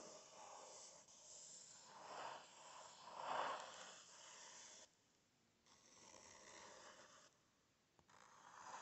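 Fingernails scratch and tap across the printed paper pages of an open book, making a soft, airy rasping that swells into louder strokes before dropping into near-silent pauses. A light tap clicks just before the scratching resumes.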